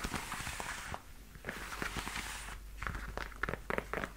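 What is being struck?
Leather high-heel boot.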